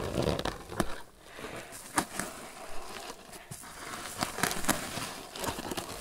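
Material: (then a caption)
Twine. A grey crocheted twine lidded basket is held up in both hands while fingertips and nails scratch and squeeze its sides. The result is dry, crackly rustling and scratching with scattered sharp, bright clicks over a soft, steady texture.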